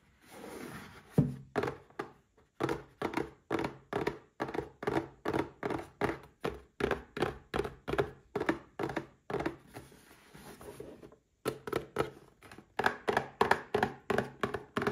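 A small red cardboard gift box holding a Paladone Mario Kart glass is tapped and scratched with short nails and fingertips. A steady run of quick, dry, hollow thunks with almost no ring is broken by brief stretches of soft, papery scratching near the start and around the eleven-second mark.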